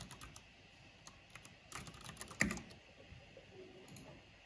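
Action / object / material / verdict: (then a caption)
tap / plastic mechanical keyboard / plastic / none. A black plastic mechanical keyboard with a purple backlight is typed on with fingertips and long nails, tapping the keys. Quiet, bright clicks come in a loose run of separate key taps, with one louder clack near the middle and a brief cluster just before it, each tap dying away quickly.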